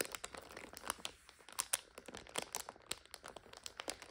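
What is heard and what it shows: Long nails scratch and squeeze a full instant noodle multipack in its plastic overwrap, making it crinkle. Dense, bright crackles and sharp plastic snaps come in quick, irregular bursts with almost no low end.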